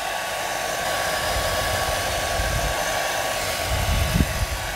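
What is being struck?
Nothing is struck.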